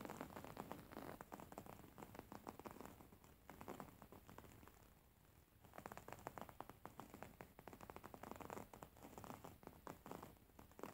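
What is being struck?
Printed fabric cushion.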